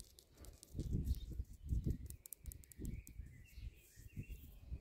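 Long nails and fingertips tap and scratch the rough, porous tops of solid cylindrical concrete posts in a concrete palisade garden border. The tapping gives dull, low, short thuds in uneven clusters with gritty scratching between them. Bright bird chirps sound in the outdoor background.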